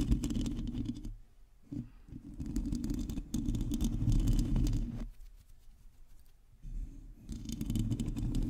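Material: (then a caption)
Metal mesh. Long teal acrylic nails on both hands scratch and tap the hollow domed metal mesh grille of a black USB condenser microphone. The result is dense, boomy, low rustling and scraping in rapid bursts, with brief quieter pauses between passes. Faint bright crackle sits over the heavy low rumble.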